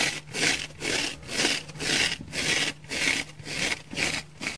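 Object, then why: Foam sponge scratched with fingernails. A dry orange oval foam sponge, held in both hands, is scratched with long fingernails across its face and thick side. The result is a steady rhythm of rough, bright scratching strokes, about two per second, each swelling and fading with a dry, hissy texture and little low end.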